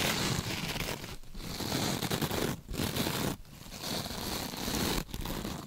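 A rectangular kitchen scrub sponge with a glittery, sparkly mesh surface, soft and compressible, is held in gloved hands and scratched and squeezed with long pointed nails, not touching the mic. Dense crinkling, crackling and scraping textures run continuously across a broad band from low to bright highs. The sound breaks into short quieter gaps between bursts of squeezing.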